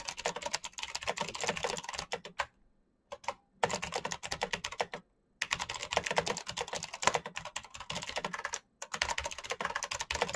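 Fast fingertip typing on the clicky switches of a black plastic mechanical keyboard produces dense bursts of sharp, bright clacks with almost no low end. Each keystroke dies away almost instantly. The typing stops in brief pauses, including a longer break of about a second near the start, before resuming at the same quick pace.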